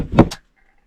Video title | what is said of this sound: I'm Leaving in 30 Days. It's Time to Test my Self-Converted Camper Van | I can hear it sloshing.